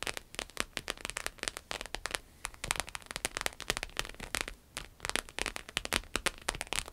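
A red croc-embossed vinyl wallet rests on a table, then is lifted, tapped and scratched with long acrylic nails. Rapid, bright clicking taps and crackly scratches overlap in dense bursts with very short decay, sounding like light rain or crackling.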